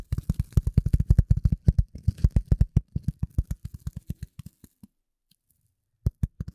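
A rectangular gray polyethylene foam sheet, held over and in front of the microphone, is scratched and tapped with the nails of both hands. It gives a fast run of short, dull, low thumps with faint bright scratchy ticks on top. The taps thin out and slow down, fall silent for about a second, then return in a final quick trio.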